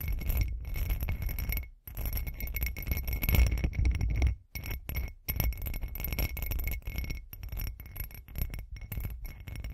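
Long acrylic nails tap and scratch a hand-sized, hollow, textured glitter glass cup, producing a dense run of quick glass clinks and scraping taps. The clinks are short and bright over a heavy low-frequency rumble, with a steady tone near 2 kHz and brief near-silent gaps around 1.8 s, 4.5 s and 5.1 s.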